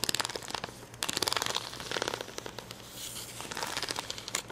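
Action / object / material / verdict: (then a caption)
scrape / acrylic rhinestones on a plastic sticker sheet / plastic / none. Fingernails pick and scratch at the red and yellow acrylic rhinestones on a clear plastic rhinestone sticker sheet, heard close-up. Quick, bright clicks and crinkly scratches come in dense bursts with very little low end and no ring. A faint steady low hum sits underneath.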